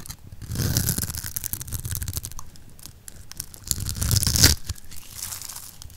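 A solid oval magenta bar of dry soap, held in the palm and scored in a grid, is scraped with a metal blade and breaks into crumbly chips. Dense, irregular crisp crunching and crackling comes in bursts, with a low thudding body and bright grainy edges. The loudest, sharpest crunch lands near the 4.5-second mark before the scraping eases off.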